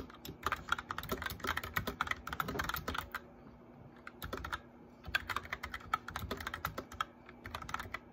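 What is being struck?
Plastic mechanical keyboard.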